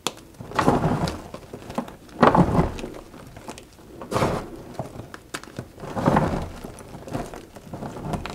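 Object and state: Crushed gym chalk blocks.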